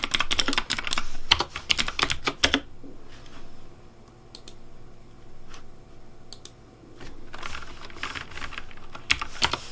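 Fingertips of one ring-wearing hand type rapidly on a full-size pink plastic Razer Deathadder V3 Pink mechanical keyboard with RGB backlighting, a hollow case, and keycaps on switches. A fast burst of sharp, bright clacks with a hollow low thud under each key gives way to a quieter stretch of sparse, light taps. Rapid typing then picks up again near the end.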